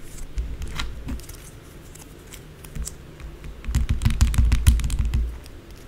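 Long blue acrylic nails tap and scratch fast across the top of a white solid bar of soap lying flat on a dark surface. Quick, uneven clicky taps with a dull low thud beneath and bright nail ticks run throughout. They drop softer in the middle, then build into a louder, denser flurry near the end.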